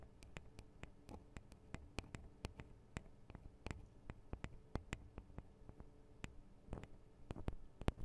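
Long acrylic nails on both hands tap the small hollow metal microphone capsules of a Tascam DR-40 recorder in a quick, irregular run of around thirty sharp, distinct clicks. Each tap is a brief, bright tick that dies away almost instantly, set over a quiet, low background hum.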